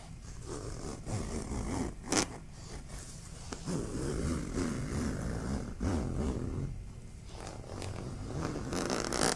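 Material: Fabric.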